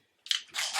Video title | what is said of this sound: Grwm: Bronze Bombshell, Mac Bronze Collection and more. | of course you hear like the rattling